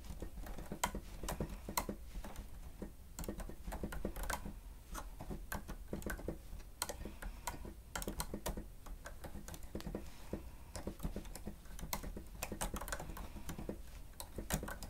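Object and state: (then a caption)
Plastic stenotype keyboard being typed on. Fingertips type on the keys of a grey plastic stenotype machine, producing a steady, irregular stream of short, clicky key strikes. The crisp clicks sit over a constant low rumble and stay at an even, quiet level throughout.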